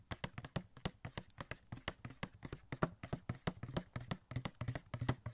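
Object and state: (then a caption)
Cardboard toy box with plastic window. Fingertips rapidly tap a small, hollow cardboard Funko Pop box with a plastic window and a Star-Lord figure inside. About three dozen quick, dry, dull taps land in an uneven rhythm, with a low, boxy thump and almost no ring.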